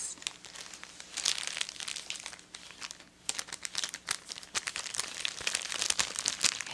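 A small white printed pouch, paper or foil-lined with a metal clip, is held in both hands and crumpled and crinkled by fingers and long nails. Dense, bright crinkling comes in bursts of sharp crackles, dips briefly near the three-second mark, then picks up again louder and denser.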